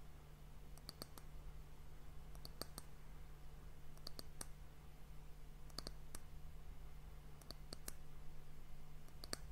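Long nails tap the round, solid, varnished brown wooden end cap of a glass hourglass. Quiet, sharp, very short clicks come in small quick clusters with bright high edges. They sit over a steady low hum.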